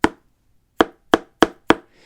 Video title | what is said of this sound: Hoka Bondi 7 vs Nike ZoomX Invincible Run - Max Cushion Comparison - Which Shoe is Right For You? | Now that almost sounds hollow, and that's the same sound you get when you're out running in these.